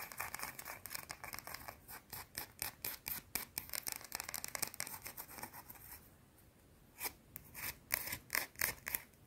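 Long blue-painted nails scratch the edge of a small, solid, round white soap bar in quick, irregular strokes. Each stroke gives a dry, bright, rasping scrape with almost no low end. The busy scratching pauses briefly near the end, then returns in a few sharper, louder strokes.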